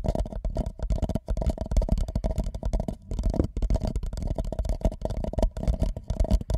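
An empty white paper cup held over the microphone is lightly tapped and rubbed with fingertips. It makes a dense, continuous run of soft, muffled thumps and scratchy rubbing with a deep, boomy low end. There are only brief gaps between the bursts.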